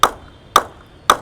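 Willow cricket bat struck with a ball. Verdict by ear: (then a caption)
Good ping. A player-profile HP3 English willow cricket bat, with a toe of almost 36 mm and edges of almost 42 mm, is struck with a ball three times, each giving a sharp, bright wooden ping centred near 1.2 kHz that dies away quickly. The ping is judged outstanding, with no vibrations in the handle.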